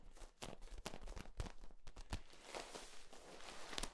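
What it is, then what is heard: Corrugated plastic tube being squeezed. A hand grips and squeezes the ribs of a long, hollow, yellow corrugated flexible plastic tube held upright. This produces a quiet, steady run of soft crinkling clicks and crunches with a dull low body and a few brighter snaps standing out.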